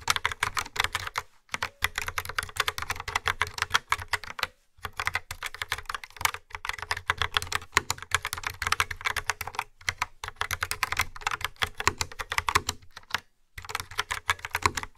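Long fingernails type steadily on a yellow-framed, hollow plastic mechanical keyboard with dark round keycaps. Rapid, bright clicky keystrokes with a hollow undertone come in quick bursts, broken by a few brief pauses.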